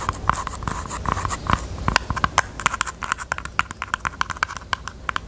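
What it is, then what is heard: Jewelry box. A pink jewelry box is tapped with the fingertips in a rapid, uneven run of light, dry taps. Each tap is short with almost no ring and a faint tone around 1 kHz, over a soft background hiss.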